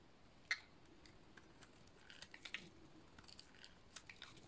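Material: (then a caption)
Soap. A metal utility-knife blade shaves a solid white bar of dry soap, giving quiet, dry, crisp scraping clicks and crunches with bright, high-pitched edges. One sharper snap comes early, followed by scattered softer ticks and a small cluster of flakes cracking off midway.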